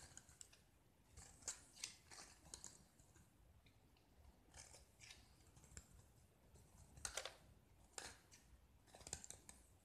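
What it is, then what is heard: Painted gypsum brick being carved. A small solid gypsum block with a green painted coating is held in hand and carved and scraped with a metal utility knife blade, so the exposed white gypsum crumbles. Quiet, dry, bright scraping and crunching strokes come in uneven bursts, with sharp crackly peaks and short gaps between them.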